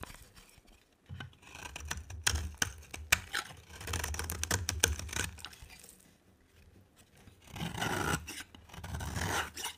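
A box cutter blade scrapes and carves a dry, rectangular cream-colored bar of soap with a green edge. The strokes make dry, bright rasping sounds, with sharp ticks and crisp snaps that stop without ringing. A quieter stretch follows, then another long, steady rasping pass.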